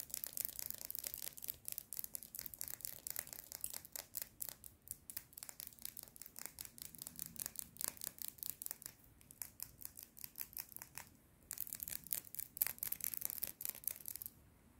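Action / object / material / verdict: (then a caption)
tap / plastic pen tapped and scratched with fingernails / plastic / none. Long red nails scratch and tap rapidly along a slim red plastic pen with a cap and hollow barrel, held horizontally in both hands. The result is a quiet, dense stream of bright, dry scratches and clicks with almost no low end or ring, with a short pause near the eleven-second mark before the tapping resumes and stops just before the end.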